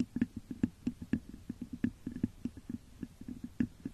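Long nails scratch and tap the top of a hollow, textured clear glass vase turned upside down over a microphone. The result is a quick, uneven run of short, dry taps with a hollow tone around 240 Hz, over a soft scratching texture, each tap dying away almost at once.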